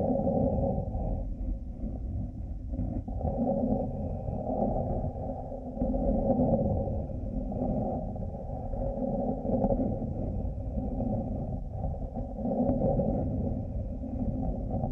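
Fingertips and nails scratch both of the small hollow plastic cat ears on a headphone headband. The result is a steady, muffled scraping and rubbing with a low rumble. Its energy sits below about 1 kHz with a hollow midrange tone, and it swells and dips slightly without distinct separate hits.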